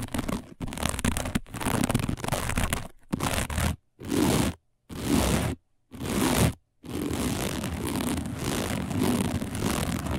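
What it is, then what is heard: Woven plastic placemat. Long nails scratch across a round, flat, dark woven plastic placemat, giving a dry, crunchy scraping texture. Short bursts of scratching are separated by brief silent gaps before the scratching runs on continuously toward the end.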